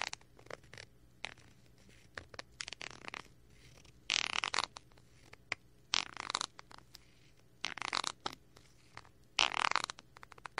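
A thin wooden stick scratches and pokes the crinkly film of a small clear plastic bag package with a cardboard header, held in one hand close to the mic. Light ticks and taps are broken up by four louder bursts of bright, papery crinkling and scraping. The quiet gaps between them have only a faint low hum.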